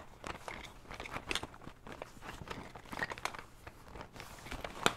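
A cylindrical blue printed fabric pencil case with a zipper, its contents unseen, is held in both hands while fingertips and nails tap and scratch its surface. The result is a quiet, steady stream of soft, crinkly taps and dry scratching with bright crackly edges, ending in one sharper, louder tap.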